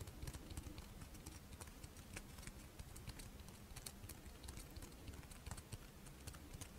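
A fish-shaped strawberry rice wafer monaka is held in the hands while long nails tap and scratch its crisp surface. The result is a rapid, uneven series of light, dry clicks and scratchy ticks with bright, crisp edges that die away almost instantly, over a soft low rumble.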